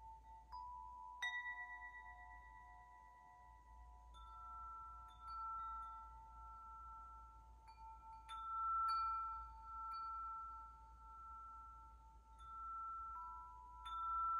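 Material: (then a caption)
Metal. A hollow metal tube wind chime, held up by its string, is gently shaken so its central striker rings the tubes. Clear, bright, bell-like tones strike at irregular moments and ring on, overlapping into a shimmering, sustained chord over a faint low background hum.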